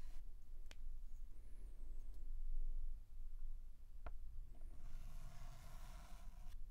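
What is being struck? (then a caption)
Chalk stick on a blackboard. A white chalk stick is scratched in line strokes across a large flat blackboard while outlining a letter. Quiet, soft scraping sits over a low rumble, broken by a few sharp taps. Near the end a brighter, grainy scratch runs for about two seconds.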